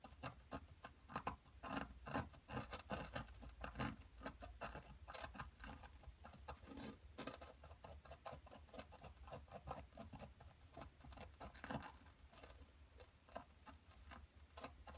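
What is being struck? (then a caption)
Plaster excavation block. A thin metal pick scratches and gouges a solid, palm-sized blue plaster dig block held in place by one hand, spreading plaster dust over a dark table. The result is a quiet, dense run of irregular, dry scraping and gritty clicking strokes, each a short broadband burst with a bright, raspy edge and almost no ring.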